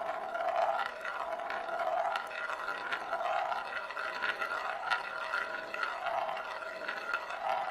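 A single glass marble rolls in circles on the inner surface of a large, shallow, hollow bamboo plate that is empty and held in both hands. A continuous rolling rumble swells and fades in slow waves around a steady mid tone near 1.4 kHz, scattered with faint brighter ticks as the marble runs around the rim.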